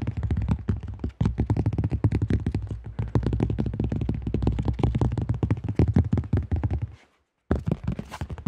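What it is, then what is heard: Plastic disc golf disc. Fingertips tap rapidly on the rim and face of a cream AGL plastic disc golf disc with a thin shell, producing a dense stream of short, hollow, low thunks. The taps die away almost instantly, pause briefly just after one second, and stop in a short silence near seven seconds before resuming.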